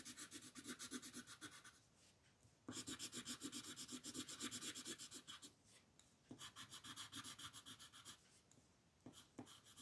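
An orange colored pencil rubs and scratches across a flat white paper mandala sheet in quick shading strokes, making a bright, raspy scratching. The strokes come in rapid back-and-forth bursts separated by short pauses.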